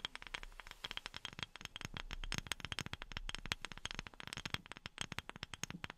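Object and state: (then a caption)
Wooden object tapped with silicone finger pads. A wooden object is tapped by fingertips wearing silicone rubber pads. It produces a fast, steady run of short, dry taps with almost no ring, bright and crisp with a soft low thud under each one.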